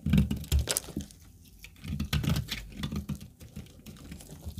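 A rectangular, solid brown household laundry soap bar is held in a black-gloved hand while thin dry slices are cut and scraped off it with a metal utility knife blade. Irregular dry scraping and crisp patter-like cuts are heard, with low thuds and brief bright crackles between quieter pauses.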